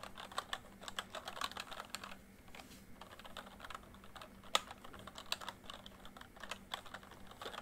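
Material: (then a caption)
Plastic. Fingertips type on a full-size plastic MSI backlit membrane keyboard, producing a quick stream of short, light key taps with bright clicky edges. A few taps land harder than the rest, and a faint steady low hum sits underneath.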